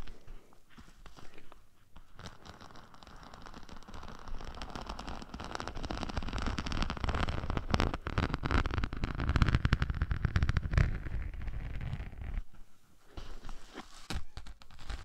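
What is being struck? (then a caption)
Glitter-coated craft sheet. A dark glitter craft sheet with a green glitter patch, laid over a dummy head microphone, is scratched with the long nails of both hands. A dense, crackling, scratchy texture starts soft, builds to a steady rough rasp with a strong low rumble, then thins out into scattered scratches near the end.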